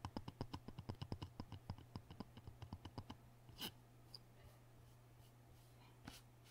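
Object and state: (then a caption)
Wet whetstone tapped with fingertips and nails. Fingertips and nails of both hands tap and scratch the surface of a rectangular, solid, wet King sharpening stone resting on cardboard, while an orange knife rests untouched beside it. A quick, fairly even run of short, dry taps fills the first three seconds, followed by a few isolated brighter scratches over a steady low hum.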